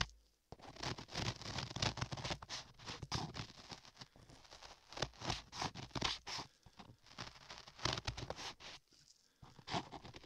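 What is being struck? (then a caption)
Modeling clay on a microphone ear, scraped with a metal chisel. A metal chisel held in a gloved hand scrapes solid beige modeling clay covering a microphone ear, near the ear canal. After a brief silent start, the clip fills with dense, close-up scratching and crackling, with bright, gritty bursts that swell and fade unevenly over a faint low rumble.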